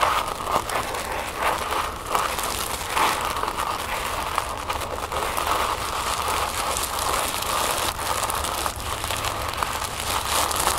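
Long nails scratch and crinkle folded orange tissue paper resting on a wooden table, giving a steady papery crackle with a bright upper edge. Small sharp crinkles pop out now and then over a dense, even rustle that runs the whole clip.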